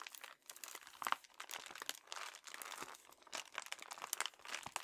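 A red metallic foil padded bubble mailer with a paper shipping label, medium envelope size, hollow and apparently filled, is held in both hands with short dark-painted nails and squeezed, crinkled and rubbed along its plastic film. Dense, quiet, bright crinkling and crackling comes in rapid bursts, with almost no low end and each crackle cutting off instantly.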